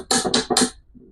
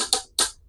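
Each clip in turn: First: petrified wood that knocks like stone. Second: petrified wood that sounds like stone.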